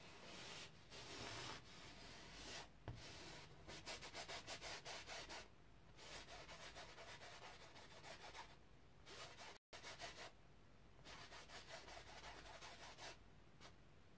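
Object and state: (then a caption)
Stretched cotton canvas brushed with paint. A flat paint brush loaded with pink paint is rubbed in long strokes across a large white stretched cotton canvas, taut fabric over a wooden frame, resting on an easel. Each stroke gives a dry, bright, hissing rub, and the strokes come in quick repeated runs with short pauses between them. The clip cuts to silence for a brief moment partway through.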